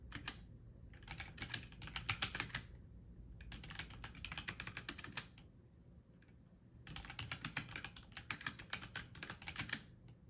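Fingertips and medium-length nails press the plastic keycaps of a full-size backlit mechanical computer keyboard in slower typing taps. Bright, sharp clicks come in bursts, with pauses near 3 and 6 seconds. A steady low hum and a faint high whine run underneath.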